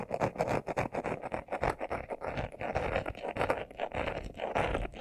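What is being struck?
Leather-covered glasses case.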